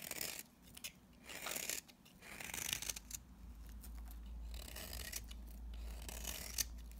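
A utility knife blade shaves brittle, dry flakes off a solid, very dry pink bar of soap held in the hand. Bursts of bright, crisp scraping and crunching rise and fall over a steady low hum that settles in partway through.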